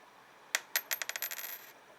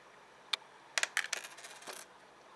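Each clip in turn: First: zinc penny, dull drop sound. Second: copper penny, brighter ringing drop.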